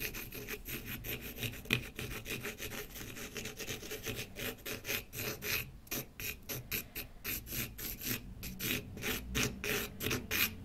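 A pen tip scratches repeatedly across the surface of a small, solid, light wooden block held in one hand on a wooden table. Quick, slightly uneven rasp-like strokes come about three per second, each a short, dry, bright scratch with a faint low body and no ring.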